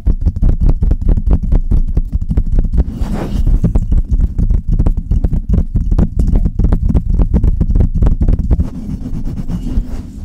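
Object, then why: Metal mesh microphone grille. Long red nails on both hands scratch and tap the hollow metal mesh grille of a Blue Yeti microphone. The result is a steady, rapid stream of dull, boomy low thumps and scuffs with almost no high end. The sound eases slightly toward the end.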